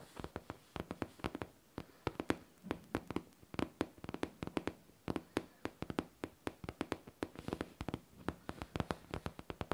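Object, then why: Faux leather backpack. Long nails tap and scratch the smooth, curved top of a hollow pink faux leather backpack. About fifty quick, dry taps land in an irregular stream, each a short, soft knock with a muted body around 300 Hz and almost no ring. Faint scratching fills the gaps between taps.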